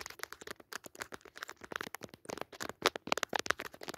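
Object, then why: Padded woven jacquard fabric cushion. Long fingernails scratch the textured surface of a soft, padded woven jacquard fabric cushion with a red leaf pattern. Quick, irregular bursts of dry, crackly scratching follow one another closely, bright and thin with almost no low end. Each stroke stops dead with no ring.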